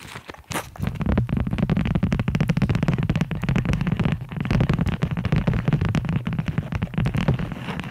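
Fast, aggressive tapping on cork coasters produces a dense stream of dull, muffled knocks with a low, thumping body and little brightness. The taps come in quick, uneven bursts that barely ring, blurring into a steady, rumbling patter.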